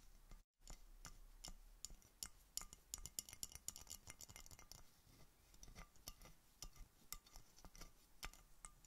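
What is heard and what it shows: A clear, hollow, apparently empty glass Coca-Cola bottle with a red label and cap is held sideways near the microphone and tapped with red-painted fingernails by a hand in a fingerless knit mitten. Quick, bright clicks and light glassy clinks come in irregular bursts, each dying away almost instantly, with a brief silence near the start.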